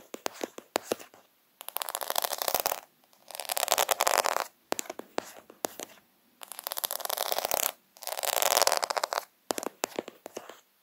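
Fingertips sweep and scratch across the bead rows of a plastic faux pearl sticker sheet made of plastic half-pearls. Quick clusters of sharp, bright clicks alternate with longer, dense scratchy rasps that rise and fall, separated by brief silences.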